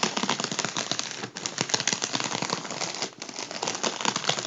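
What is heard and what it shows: A makeup brush's soft bristles brush and tap a partly deflated gold mylar foil balloon lying on a table. The result is a dense, bright crinkling and crackling rustle with quick soft taps, broken by two brief quieter dips along the way.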